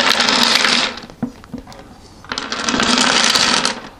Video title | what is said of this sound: Let Me Show You My Grandmother's Backgammon Board -- ASMR -- Soft-Spoken, Tapping, Wood, Male | And the pieces in there, uh, they're all the original pieces, right? And they're loose, right?